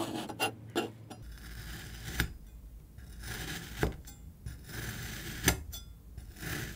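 A steel kitchen knife presses down through a palm-sized solid block of yellow-green kinetic sand, cutting it into slices. Each of about five cuts makes a short, soft gritty crunch with a bright, grainy crackle over a low, dull rumble. Quieter scraping and crumbling fill the gaps between the cuts.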